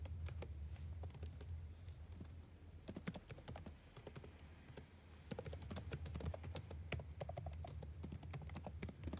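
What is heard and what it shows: Fingertips type continuously on the blue-backlit plastic keycaps of a dark laptop, producing rapid, irregular, bright clicking taps that die away almost instantly. A steady low hum runs underneath throughout, and the typing thins out briefly around the middle before picking up again.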